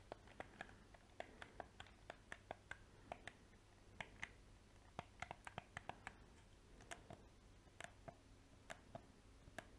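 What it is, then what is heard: Plastic game controller. A black hard-plastic PS4 game controller, hollow and held in both hands close to the microphone, has its buttons and sticks pressed and clicked by fingertips with painted nails. Rapid, dry clicks and taps sound at an irregular pace over a low steady hum. Each click is short and bright with no ring.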